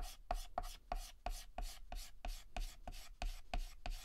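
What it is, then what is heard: Chalk scratching on a chalkboard. Fingertips hold a stick of yellow chalk and shade a petal on a flat, solid black chalkboard with rapid, short back-and-forth scratches. About twelve dry, gritty strokes are heard at a quick, slightly uneven pace, each a brief bright rasp with a faint squeaky tone that stops almost at once.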